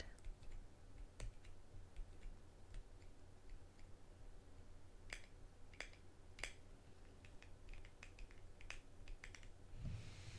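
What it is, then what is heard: Small metal salve tin. A small, shallow, round metal salve tin with a printed lid, kept closed, is held in the hands and then set on a table, where long green-painted nails tap and scratch it while a second tin sits nearby untouched. A quiet series of sharp, bright ticks and clicks dies away almost instantly over a steady low hum. A brief scratchy hiss comes near the end.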